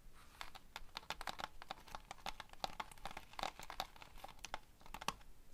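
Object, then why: Plastic sequins pinned on a foam board. Fingertips and long nails scratch and tap across a framed foam board covered in pinned plastic sequins that form a tiger picture. The result is a dense run of quick, dry clicks and crinkly scratches, with a faint tonal ring near 780 Hz and bright, crisp highs.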